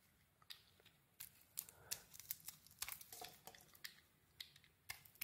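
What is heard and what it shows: A rectangular bar of soap with a dark brown coating and a cream core, solid and held in the hand, has its coating scraped off with a small metal blade. The sound is a quiet series of sharp, bright scrapes and crisp crackles with no ring, with irregular pauses between them.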